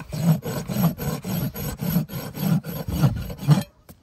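A long steel farrier's rasp is drawn with two hands across the solid keratin wall of a shod horse hoof resting on a hoof stand. About ten steady back-and-forth strokes give a coarse, low, grinding rasp with little high-end hiss. Each stroke stops dead before the clip ends in near silence.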